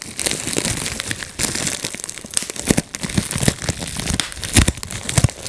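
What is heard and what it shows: A clear plastic bubble wrap sheet has its bubbles popped by fingertips in rapid sequence. Sharp, bright pops and crackles come one after another over a steady crinkling of plastic.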